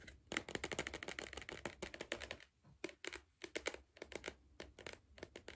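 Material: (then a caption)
Cardboard. Fingernails tap rapidly on the side of a hollow green cardboard Pringles tube held in one hand. The taps come in quick bursts with short pauses between them. Each tap is a dry, bright click with a hollow body around 320 Hz, and it dies away almost instantly.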